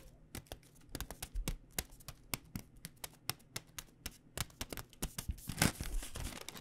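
A flexible plastic stand-up pouch of Pad Thai rice noodles, held in both hands, is tapped and crinkled with long dark-painted nails. Quick, uneven clicky taps with bright crackly edges and a soft low thump come in a steady stream. A louder, fuller burst of crinkling swells near the end.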